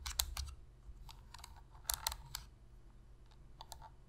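Long pink fingernails tap and scratch the hollow plastic shell of a black PlayStation controller and press its d-pad. Quiet, irregular bursts of sharp, bright clicks and taps stand out over a faint scratchy rustle and a low background hum.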